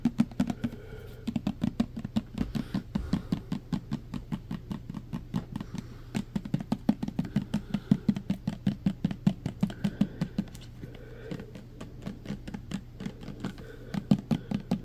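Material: Plastic.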